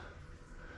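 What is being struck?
Nothing is struck.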